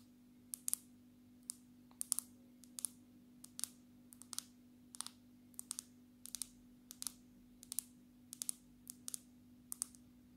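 Long natural nails of both hands tap the glass back of a black smartphone held upright. The result is quiet, sharp, bright clicks in irregular single taps and quick clusters that stop instantly, over a faint steady low hum.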